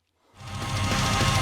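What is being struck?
Nothing is struck.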